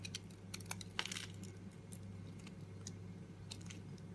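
A metal blade scrapes and carves shavings off a solid red and green bar of soap that is already carved down, held in a hand with long pink nails. Quiet, bright crunching and scraping ticks come in short bursts, sharpest around the first second, over a steady low hum.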